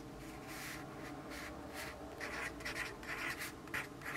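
A yellow graphite pencil writes continuously on a lined paper notepad resting on a wooden desk. The result is a soft, dry scratching in repeated, uneven strokes, with bright bursts that grow slightly louder and busier in the second half.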